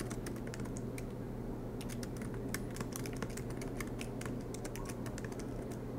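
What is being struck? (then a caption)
Laptop keyboard with plastic keys in an aluminium body. Both hands type continuously with their fingertips on the low-profile black plastic keys of a silver MacBook Pro, its keys set in an aluminium body, with the laptop resting on a desk mat. A fast, uneven stream of soft, bright key taps sits over a steady low hum.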